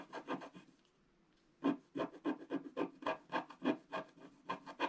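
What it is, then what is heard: Scratch-art paper being scratched. A wooden stylus scratches away the coating of a flat, black-coated scratch-art paper page in repeated short strokes. The result is a series of dry, raspy scrapes with a low-mid body and some brightness, broken by a quiet pause of about a second before the strokes resume at a quick, uneven rhythm.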